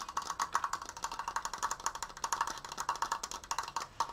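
Fingertips and nails tap quickly on the wooden slats and apex of a large, open triangular triforce frame. About 32 short, dry knocks with almost no ring sound in a rapid, uneven rhythm. Each has a hollow woody tone centred near 1.1 kHz and a faint bright click on top.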